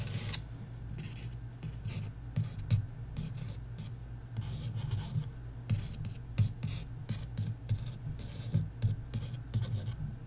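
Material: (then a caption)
Card. A long-nailed fingertip traces and scratches the card cover of the paperback novel "Love & Other Words" lying flat on a table. Dry, bright scratching strokes come in short bursts over a steady low hum, with each stroke stopping dead without ringing.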